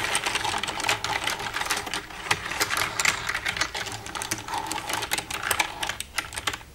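Long red-painted nails tap and type with both hands across the keys of a black plastic desktop computer keyboard with a hollow casing. A dense, uneven stream of sharp, bright plastic clicks and taps comes in quick bursts, with almost no low end and each tap dying away almost at once. The clatter rises and falls in loudness before thinning out at the very end.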